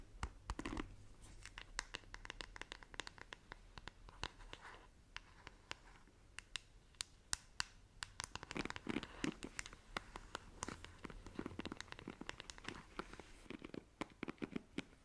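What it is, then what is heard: Plastic paddle hairbrush scratched with nails. Long nails scratch and tap across the back and side of a black plastic paddle hairbrush, then rake through its bristles. The result is a quick run of dry, crisp scratches and sharp clicks with bright edges, over a faint steady low hum.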